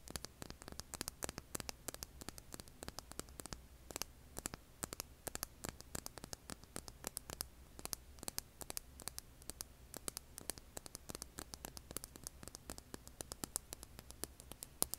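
A hand-sized solid rough rock, held over an earbud mic, is scratched with long red nails. It gives a quiet, steady stream of dense, sharp clicks and scratches, bright and crackly like static, over a low hum.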